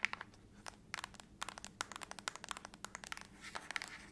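Long acrylic nails tap and scratch the back of a closed silver aluminum laptop lid held upright. A rapid, uneven run of dry, bright clicks and ticks with almost no ring is heard, with a short scratchy rasp near the end.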